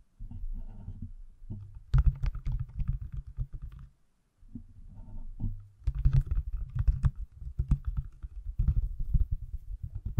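A pale green, hand-sized, solid silicone/plastic case on an iPhone is held close to the mic and tapped and scratched with fingertips and nails. Soft, muffled scratching gives way to quick bursts of dull, low, thumping taps, with a brief silence near the middle before the rubbing and tapping resume. Each tap is short and dead, with almost no ring.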